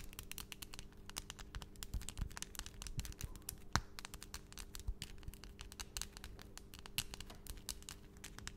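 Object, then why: Acrylic fingernails. Long, solid, pastel acrylic nails on both hands are tapped rapidly nail against nail in front of a microphone. The result is a dense, continuous stream of sharp, bright clicks with very short decay, set over a steady low hum.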